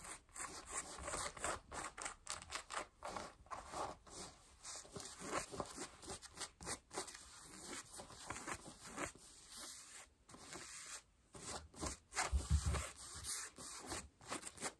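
Long nails scratch worn, light beige cotton denim jeans over the thigh and raised knee of a seated wearer. Quiet, irregular bursts of dry, rough rasping come in quick strokes, with a broad hiss reaching into the bright range and brief silent gaps between scratches.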